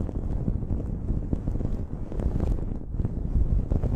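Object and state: Cotton terry towel being scratched.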